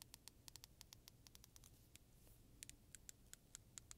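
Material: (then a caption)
Plastic. A medium-size solid black plastic hair comb with fine and coarse teeth is held in both hands and flexed while long nails and fingertips strum and scratch along its teeth. About 22 sharp, bright ticks and clicks sound in quick, uneven succession over a quiet low hiss, each dying away almost at once.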